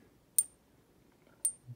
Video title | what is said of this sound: Is my 50 pesos Centenario gold coin real? (Gold coin testing methods) | this is a mexican coin